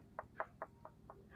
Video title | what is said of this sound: Proses Pengiriman Kelapa Kopyor | ketukannya itu lembut tidak nyaring itu bisa dipastikan berpotensi kelapa kopyor